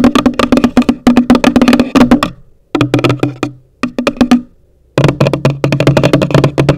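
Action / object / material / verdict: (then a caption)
tap / cardboard box / cardboard / none. Long nails tap rapidly on the top of a hollow, pale green cardboard gift box, making quick, dry, hollow knocks with a low body. The taps come in bursts separated by short pauses, and each one dies away almost at once.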